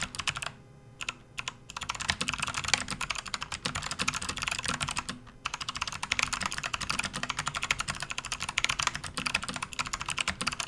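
Fast, continuous typing with both hands' fingertips on a full-size RGB-backlit plastic membrane gaming keyboard resting on a desk mat. The key presses make dense, bright, short clicky taps with little low end. There are brief pauses near the start and around the five-second mark before the rapid typing resumes.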